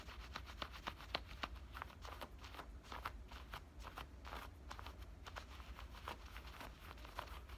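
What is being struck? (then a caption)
Denim shorts pocket. Fingernails scratch and pinch the pocket edge and stitching of worn black denim cutoff shorts. A quiet run of short, dry, papery scratches and rubs, bright and crisp, repeats in quick succession over a steady low hum.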